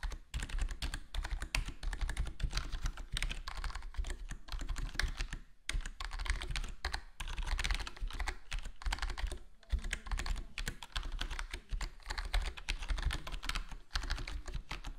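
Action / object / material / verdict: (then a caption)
tap / mechanical keyboard with plastic keycaps / plastic / none. Both hands' fingertips type rapidly on a black HyperX Alloy Core gaming keyboard with foam-modded plastic keycaps, set on a solid desktop board. It makes a dense, continuous stream of short, deep clacks with brief pauses.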